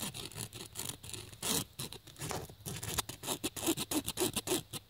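A USB cable plug held in the fingers scratches fast strokes across the woven black nylon fabric surface of a black nylon fabric bag. The result is a rapid series of dry, bright, hissy scratches, with the strokes growing more sharply separated toward the end.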